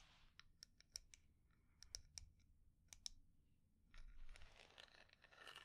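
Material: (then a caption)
Wood. Long nails tap and scratch a small, round, hollow wooden jar with dark lacquer, inlaid flower dots and a closed lid. A series of sharp, bright, clicky taps dies away almost at once over a faint low rumble, and from about four seconds it gives way to a denser, brushing scratch across the surface.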